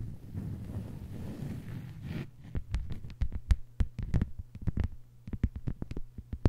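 Long white almond-shaped nails of both hands scratch and tap a thin, flat green plastic cutting board lying on a table. A dense, low scratching rustle fills the first two seconds, then gives way to a quick series of short, dull taps with a faint steady low hum beneath.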